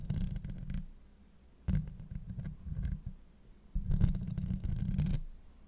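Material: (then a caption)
Steel mesh. Long light-blue acrylic nails on both hands scratch the hollow steel mesh grille of a Blue Yeti microphone. Three bursts of deep, rumbling scratching with a faint bright hiss above are heard, separated by short quiet gaps.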